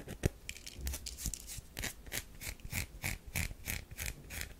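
A round solid bar of soap with a powdery scraped surface is held in the hand while long nails scratch and rub across it. The result is a quick series of dry, crackly scratches, each a short bright burst with a soft low thump beneath, coming in an uneven rhythm.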